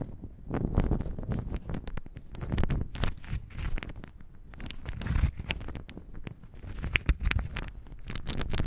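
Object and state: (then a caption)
Small wooden cubes rattled together. A handful of small, solid, pale wooden cubes with visible grain is cupped in both hands and shaken together. The result is a dense, continuous rattle of short, dry clacks with a heavy low-end thump, swelling and easing in waves, with a few sharper, brighter knocks standing out near the end.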